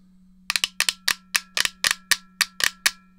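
Long nails tap the shell and press the buttons of a black, hollow, handheld plastic GameCube controller. The result is a quick, uneven series of sharp, bright clicks, some in close pairs, over a faint steady low hum.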